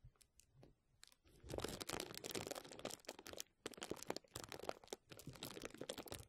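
Clear plastic bubble wrap draped over a microphone is scratched and squeezed by both hands with fingertips and short nails. A few faint, sparse ticks give way after about a second and a half to dense, bright crinkling and crackling, broken by a brief lull near the middle and another near the end. The crinkles are sharp and dry, with little low end.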